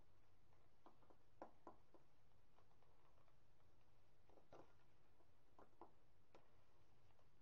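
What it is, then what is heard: Gym chalk block being crumbled. Fingertips press into a small, fluted, solid, dry white gym chalk block (magnesium carbonate) standing on a granite counter, breaking it and scratching and crumbling the chalk. Quiet, dry crackles and gritty scratches come in short bursts over a low, steady background hum as the block crumbles.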